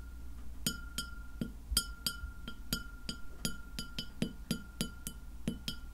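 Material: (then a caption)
Glass. Long nails of both hands tap a large, round, white glass plate, solid and empty and lying flat, in a steady run of sharp clicks. Each tap gives a short, bright, high glassy ring over a low background rumble and a faint steady tone.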